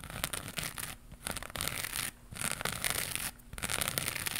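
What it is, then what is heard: Crocheted yarn pad. Long pink nails scratch a round crocheted yarn pad with a rainbow pattern and a white edge, held in one hand. Bursts of bright, raspy scratching come in quick strokes, broken by short quieter pauses.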